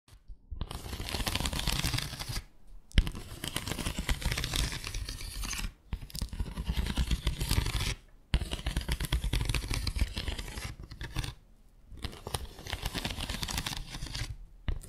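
Long acrylic nails scratch and tap along the slats of a small, flat bamboo slat mat resting on a table. The result is dense, crackling, raspy scratching with low thumpy undertones, heard in several sustained bursts separated by brief pauses.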